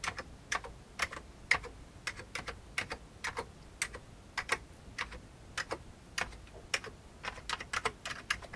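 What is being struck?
Plastic computer keyboard.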